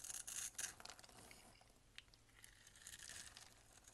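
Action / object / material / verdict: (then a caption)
scrape / bar of soap scraped by a thin blade / soap / none. A box-cutter blade scrapes and shaves the surface of a solid peach bar soap held in the hand. Bright, crisp rasping bursts come loudest in the first moments, then settle into a quieter, steady scratchy shaving with a sharp little tick midway and a slight swell near the end.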